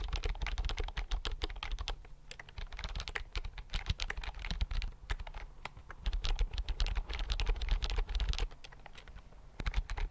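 Fingertips tap quickly on the keys of a slim white plastic computer keyboard held near the mic, producing a dense stream of short, crisp, bright clicks. The typing comes in bursts with brief lulls, over a steady low rumble.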